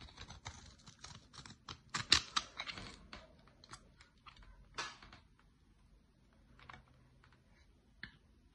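A utility-knife blade shaves curls from the surface of a solid dark olive bar of soap held in the hands. Quick, irregular bright scraping and crisp cutting clicks come in dense bursts for the first five seconds, then thin out to occasional sharp scrapes.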